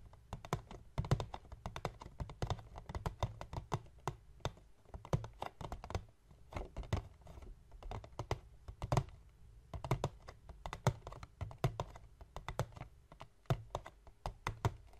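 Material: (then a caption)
Cardboard. Fingertips of both hands tap and scratch a small, hollow, rectangular white cardboard box resting on a wooden table. Rapid, soft, dull taps sound in quick irregular bursts, with short, low, hollow thuds and faint scratching between them.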